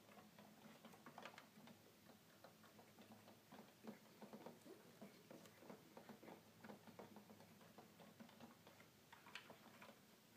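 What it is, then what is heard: Plastic toy keyboard. Fingertips press the keys of a hollow red plastic toy keyboard, then tap its top panel buttons. The result is a quiet, continuous run of light, dry plastic clicks and taps with short bright transients over a faint low hum.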